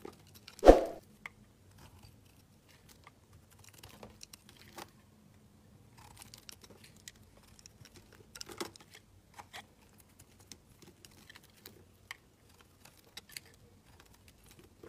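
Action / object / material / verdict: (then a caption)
scrape / bar of soap carved with a knife blade / soap / none. A solid pink bar of soap, carved narrow and held in the fingers, has shavings scraped off it with a utility knife blade. One loud sharp knock comes early, then quiet, brief, crisp scrapes and flicks are scattered throughout over a faint steady low hum.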